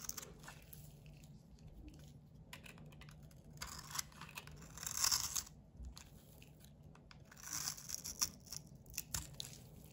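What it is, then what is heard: Bar of soap scraped into shavings. A solid bar of soap, mostly white with a blue edge, is held in the hand and scraped with a metal utility blade into shavings. Soft, crisp, bright scraping and crunching comes in uneven strokes, swelling into louder bursts near the middle and toward the end, with quiet pauses between.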